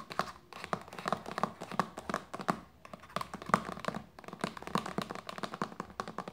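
Long nails tap quickly on a hollow white plastic lotion bottle lying label side up on a blanket. The clip is a fast, steady stream of short, hollow plastic clicks with a midrange tone near 1.2 kHz, each dying away almost at once. Brief pauses break the run before it picks back up.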